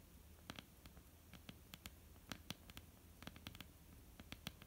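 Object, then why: Wooden tabletop tapped with fingernails. Long almond-shaped painted nails tap and lightly scratch a flat, solid wooden tabletop. Quiet, sharp, bright clicks come in an irregular patter over a soft scratchy rustle and a low background rumble. Each tap dies away almost instantly with no ring.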